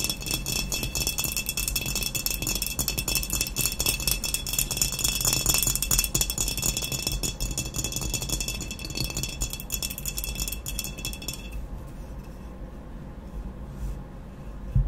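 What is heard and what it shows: Long nails rapidly tap and scratch the sides of a hollow glazed ceramic vase with a matte black body, making a dense, bright, rattling clatter of clicks over a low hollow body tone. After about 11.5 seconds the bright scratching stops and the sound drops to quieter, duller handling as the vase is turned to show its unglazed base.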